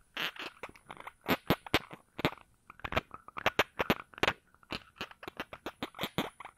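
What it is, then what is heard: Glass perfume bottle. A small glass perfume bottle with a round cap is held in one hand while the other hand's fingers twist, rub or scratch at the cap. The result is a rapid, uneven series of short, crisp clicks and scratchy scrapes with bright edges and almost no ring, separated by brief quiet gaps.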